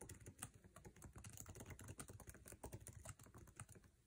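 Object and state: Laptop keyboard typing.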